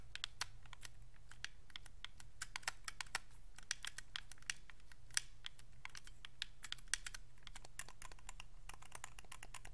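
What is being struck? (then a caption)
Plastic game controller. Fingertips and thumbs press and click the face buttons and thumbsticks of a white Xbox 360 wireless controller, a hollow hard plastic shell held in both hands. Many quick, sharp, bright plastic clicks tumble out in irregular bursts, each dying away almost instantly. A steady low hum sits underneath.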